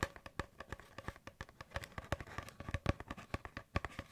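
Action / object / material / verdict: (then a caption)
tap / cardboard paper towel tube / cardboard / none. An empty, hollow brown cardboard paper towel roll tube is moved around the microphone while fingertips and nails tap and scratch it, with some crinkling. A quick, uneven run of short, dry, hollow taps carries a low thud and a mid-range tone, each dying away almost at once between softer scratchy rustling.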